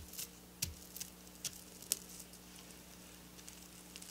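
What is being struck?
Sequin fabric.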